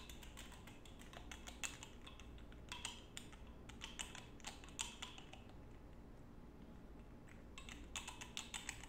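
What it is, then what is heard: Glass perfume bottle. Fingertips with short nails quickly tap and scratch a small clear glass perfume bottle with an embossed pattern and a gold cap, held up close. Rapid bright clicks and ticks, ringing around 3.1 kHz, come in bursts over a steady low hum, with a quieter stretch from about 5.5 to 7.3 seconds before the tapping picks up again.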